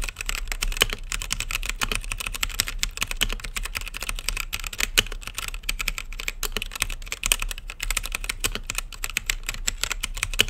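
Fingertips type rapidly on a blue-lit mechanical keyboard with plastic keycaps and a clear acrylic case, producing a steady, dense stream of sharp, bright clicks and clacks over a low hum. The keystrokes are short and crisp, with no ring after each press.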